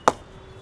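A premium English willow Gray-Nicolls Legacy cricket bat is struck once with a ball, giving a single sharp, bright ping centred around 870 Hz that dies away almost instantly. The bat sounds solid, with a premium ping.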